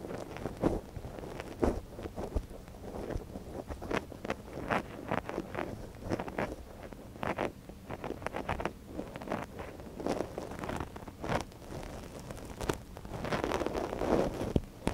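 A gloved hand works a thin wooden ear pick inside the canal of a small, hollow white silicone dummy ear on a binaural microphone. Close, dense rustling and scratching with quick crackly taps and low muffled thumps fill the clip, growing louder and fuller near the end.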